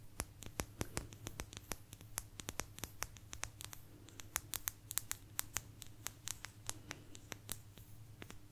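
A small, thin, solid blue agate slice held in front of a microphone is scratched and tapped with long nails. It gives a rapid, irregular run of sharp, bright clicks and ticks with faint scratching between them. Each tap dies away almost at once over a steady low hum.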